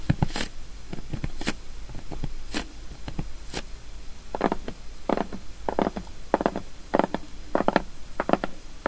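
Long nails of both hands tap quick, sharp, bright clicks on the top of a large, flat, closed cardboard box, shrink-wrapped and lying on a wooden table. Fingertips then scratch and tap along its side edges, giving duller, hollow knocks in quick clusters. Each sound dies away almost instantly.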